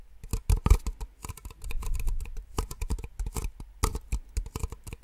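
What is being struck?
Small plastic cups tapped with fingernails.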